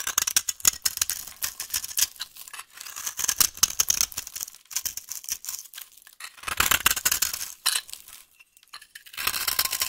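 A solid, dry yellow vintage soap bar is held in the hand while a utility knife blade carves its edge into crumbly curls. The cutting makes dense, bright, crisp scraping and crackling with quick, dry clicks in rapid bursts. There are brief quieter pauses between strokes.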